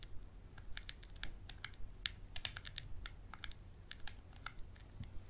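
A small textured glass bottle with a black cap, held upright and sideways, is tapped and scratched with a Sharpie marker and fingernails. Quick, bright, clicky taps come at an uneven pace over a low, steady rumble, each dying away almost instantly with no ring.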